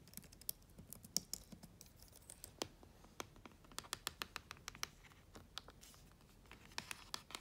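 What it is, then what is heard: Plastic laptop keyboard. Long-nailed fingers type rapidly on the keys of a black plastic laptop keyboard. The result is a quick, uneven run of sharp, bright clicks and taps that die away almost instantly, at a quiet level.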